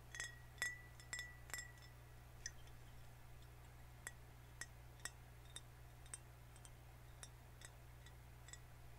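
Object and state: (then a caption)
Full glass soda bottle. Fingernails tap on a full green glass soda bottle held horizontally, producing a series of quiet, irregular clinks. The early taps ring with a clear tone near 2 kHz, and the later ones are softer and bright, all over a steady low hum.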